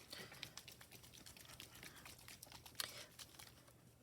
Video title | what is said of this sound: Alcohol lift ink note cards with Pink Peonies | You can hear the little metallic ball moving around in there.